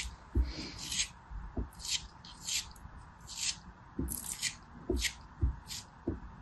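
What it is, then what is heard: Kinetic sand block being carved. A small packed block of beige kinetic sand, held between the fingers of a blue-nailed hand, is scraped and carved with a small knife blade. Each stroke makes a short, bright, gritty scrape, often over a soft low thump, as grains crumble off the solid chunk in a steady series of bursts.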